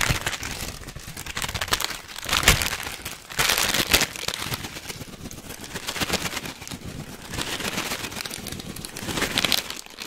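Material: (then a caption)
Plastic foil. A full orange plastic and foil snack bag is crinkled with fingers and then shaken. Dense, bright crackling rustles come in uneven bursts, with louder surges near the middle and end, and the contents rattle faintly underneath.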